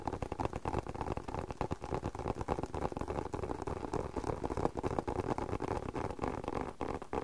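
Fingertips and short nails tap quickly and unevenly on a closed, hollow, hand-sized black leather spectacle case. Each tap is a soft, dull knock centered in the low-mids that dies away almost at once. The taps run as a continuous patter with very little bright content.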